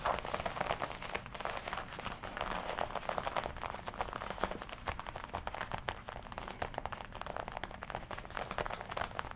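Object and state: Leather jacket.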